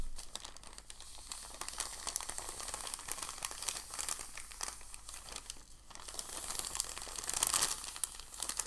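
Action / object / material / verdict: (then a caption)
scrape / thin packing paper sheet / paper / none. A large, thin, white crumpled packing paper sheet is lifted and folded by fingers, then rubbed flat on the table with the palms. A steady stream of bright, crisp crinkling and crackling continues throughout. It swells louder near the end as the palms rub across it.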